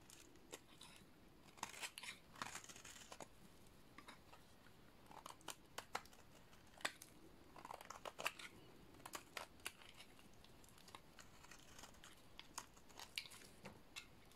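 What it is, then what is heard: Dry soap bar being scraped. A small metal blade scrapes and cuts a solid, dry, painted yellow soap bar, peeling off shavings. The result is a quiet series of crisp, dry crunches and scratchy clicks with bright, high texture that stop short with no ring.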